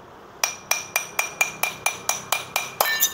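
A drinking glass is tapped twelve times in a steady rhythm, each strike giving a bright, high "ting" that rings briefly, before it is struck and broken. It is real glass: it breaks into large shards rather than the small, all-over fragments of machine-made car glass.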